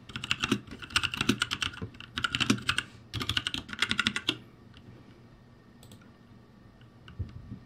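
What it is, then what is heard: Plastic mechanical keyboard. Fingertips of both hands type and tap on the plastic keycaps of a backlit ROCCAT G65 mechanical keyboard, producing rapid bursts of bright, clicky switch sounds. The typing runs in quick clusters for about four seconds, then drops to near silence with one faint tap near the end.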